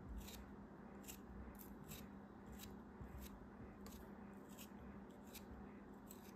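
A knife blade shaves and cuts through a solid chunk of purple kinetic sand held by fingers with long red nails. The sound is quiet, soft, grainy scraping with repeated brief, bright crisp crackles as the blade slices through, over a faint low steady hum.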